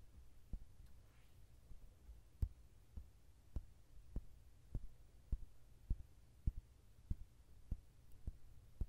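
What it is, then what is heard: Paperback coloring book tapped. Fingertips tap and scratch the glossy card cover of a softcover Mandala Wonders mandala coloring book lying flat. About twelve quiet, dull, low thuds land at an uneven, roughly steady pace, each dying away at once. A faint scratchy brush sounds near the start.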